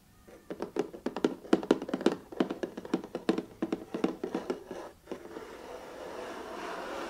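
Fingertips and nails tap a closed, hollow, medium-size 500-piece jigsaw puzzle box of printed cardboard lying on a cardboard sheet, giving a quick run of short, dry, hollow thunks with no ring. The taps then give way to a steady, soft scratchy rubbing as the fingers move across the printed lid.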